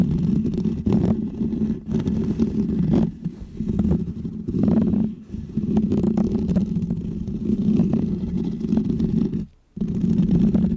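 Medium painted fingernails scratch a small round white textured foam microphone windscreen, making a dense, muffled, low rumbling scrape centered around 200 Hz. The scratching runs almost continuously, easing briefly around 3 and 5 seconds and dropping out almost completely for a moment near 9.6 seconds before resuming.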